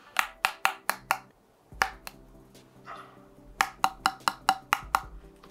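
A new Revolut metal credit card is tapped repeatedly, giving 14 short, sharp clicks in two bursts with a brief pause between them. Each tap has a mid-pitched tone with almost no ring-out. The card sounds less metallic and clanging than expected, about the same as an Amex Platinum card.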